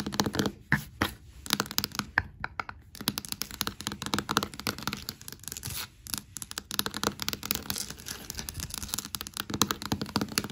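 Long black matte nails tap and scratch across large, solid hardwood floor planks. The result is a rapid, dense stream of short, dry taps mixed with rough, bright scratching, with brief quieter pauses in between.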